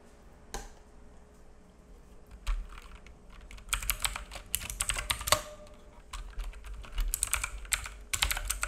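Fingertips of both hands type on a black full-size mechanical keyboard with plastic keycaps and a hollow case, resting on a wooden desk. A few isolated taps come first, then bursts of quick, bright, clicky key taps with short hollow thocks. Each tap dies away almost at once over a faint steady hum.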